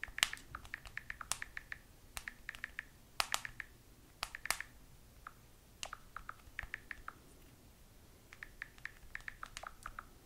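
Long nails tap continuously on the glass touchscreen of a small, solid handheld smartphone, typing in quick bursts separated by brief pauses. Each tap is a sharp, dry, bright click that dies away almost instantly, with very little low end beneath it. The result is a quiet, rapid clatter of nail-on-glass taps.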